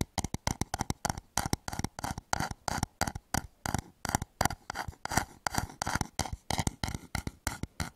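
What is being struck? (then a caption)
Wooden bowl. Fingernails rapidly tap and scratch the side of a hollow wooden bowl turned upside down over a microphone. The result is a fast, uneven run of dozens of short, dry, hollow knocks with a low body, each dying away almost at once, with scratchy bright rasps between them.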